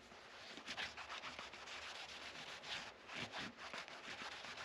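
A yellow microfiber cloth held in the fingers rubs and wipes the dark rosewood fretboard of a guitar neck resting on a padded rest. It makes soft, bright, hissy swishes that rise and fall with each stroke over a steady quiet friction.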